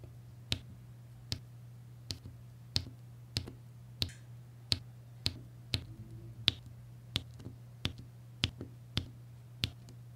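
A pink plastic applicator pen repeatedly taps and presses small solid faceted resin drills, mostly blue, onto a flat adhesive diamond-painting canvas. Fifteen short, bright, clicky taps come at a steady pace, each stopping almost instantly over a low, steady background hum.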